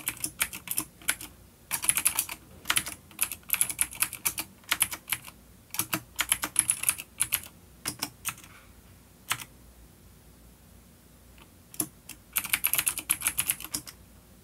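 Fingertips of both hands type on a full-size dark plastic vintage mechanical keyboard with clicky blue switches and grey keycaps, resting on a wooden desk. Bursts of sharp, bright clicks come in quick runs separated by short pauses, with only occasional isolated keystrokes in between. Each click is dry and stops almost at once, with very little low end.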